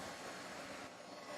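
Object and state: Nothing is struck.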